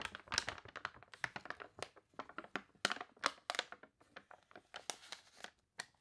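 A glossy paper toy catalog has its pages flipped and crinkled by hand while fingertips and nails rub across the open spread. The result is a quiet, steady run of quick, bright crinkles and crisp crackles with almost no low end, each snap dying away at once.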